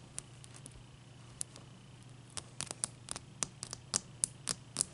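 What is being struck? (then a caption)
Large ice cube. Long dark-painted fingernails tap and scratch a large, clear, solid ice cube resting on a white towel. The result is a quiet, irregular series of sharp, bright clicks that die away instantly, growing more frequent toward the end over a faint steady low hum.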